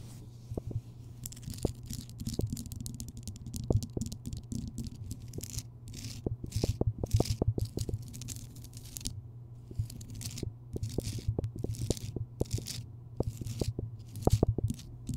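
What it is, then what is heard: Rock salt lamp scraped with nails. Long nails scrape and scratch the rough surface of a large, solid Himalayan rock salt lamp, which is lit. The sound is a dense run of short, dry ticks and scratchy strokes over a steady low hum, with bright hiss bursts coming and going through the clip.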